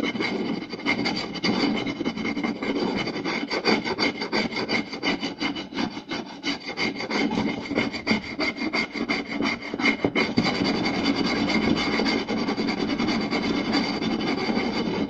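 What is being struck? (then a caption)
Round wooden plate. Two hands scratch and tap the surface of a round, solid wooden plate with fingertips and short nails. A fast, dense stream of rough, rasping scratches mixes with quick taps that carry a woody mid-range tone and a bright hiss, and the level stays steady throughout.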